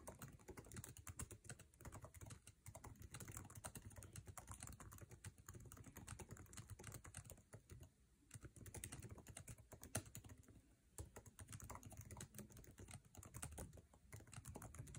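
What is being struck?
Plastic laptop keyboard.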